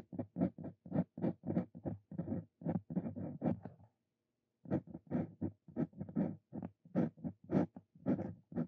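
A steel Brause Cito Fein dip pen nib scratches handwriting strokes across a thin paper card resting on a wooden desk. A quick, dry run of short scratchy strokes pauses briefly just before the midpoint, then resumes at the same steady pace.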